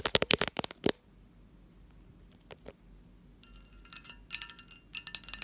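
Long fingernails tap and scratch the lid and bowl of a medium, hollow, empty textured pressed-glass candy dish. A quick run of sharp, bright clinking taps opens the clip, followed by a near-quiet pause with a few faint ticks. Then come bursts of dry, high scratching across the glass. Each tap dies away almost instantly, with no lingering ring.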